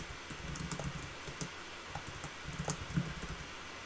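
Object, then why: Plastic laptop keyboard. Fingertips type steadily on a black backlit plastic laptop keyboard, both hands on the keys. Soft, muffled key taps sit over a low background hum, with a few brighter clicks standing out. No speech is heard.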